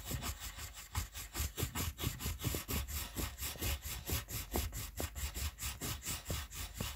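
A red wooden colored pencil held in the fingers rubs and scratches back and forth on a white paper coloring sheet resting on a table, filling in a letter. The steady, somewhat uneven strokes, a bit over two per second, make a dry scratchy rasp with a soft low thump under each pass and a bright papery hiss on top.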